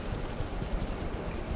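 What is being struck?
Nothing is struck.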